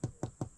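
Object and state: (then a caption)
Hollow log. Three dull knocks on a spalted wooden log at a sawmill give a low, hollow thud centered near 130 Hz that dies away quickly. The log is hollow underneath, likely because of a hole in it.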